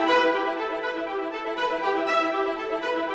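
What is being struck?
Nothing is struck.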